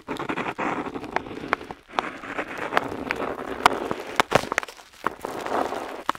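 The metal nib of a dip pen scratches across a flat paper map sheet while outlining coastlines. It makes a dry, papery scratching hiss in the mids, broken by brief pauses and many sharp, bright ticks as the nib catches and lifts.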